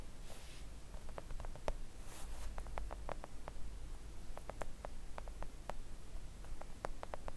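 Long acrylic nails on both hands gently tap a thin, solid, flat pink silicone nail art mat, making quiet, short, soft clicks that die away almost instantly. The taps come in an uneven pattering rhythm over a steady low hum, with a couple of brief soft hissy brushes near the start.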